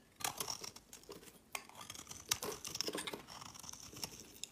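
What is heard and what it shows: A utility knife blade shaves and scrapes curls off the edge of a solid, hand-sized rectangular green soap bar held in one hand. The result is a run of quiet, crisp scraping and cutting strokes, bright and high-pitched, with short bursts separated by brief pauses and almost no low end.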